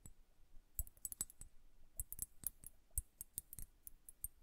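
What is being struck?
Glass liquid hourglass.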